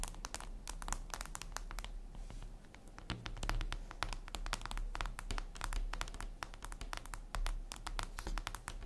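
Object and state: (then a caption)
Glass screen tapped with fingernails. Long red nails tap rapidly and irregularly on a flat, glossy black reflective glass surface, possibly a tablet screen. Each tap is a dry, sharp click that stops almost instantly, over a steady low hum. The result is a continuous, uneven patter of crisp taps.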